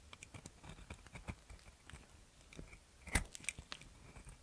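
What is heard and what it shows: A metal box cutter blade scrapes and shaves dry, crumbly white flakes from a solid round soap with a pink glitter coating, held in the fingers. Quiet, gritty crunches and short crackling scrapes repeat throughout, with one sharper, louder crack near the three-second mark.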